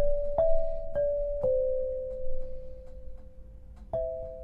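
An 8-bar lithophone of solid black granite slabs on a low frame is struck with two soft-headed mallets, tapping out a slow melody. Each strike gives a clear, bell-like tone in the mid range that rings on and fades gently into the next. A low, soft rumble sits underneath.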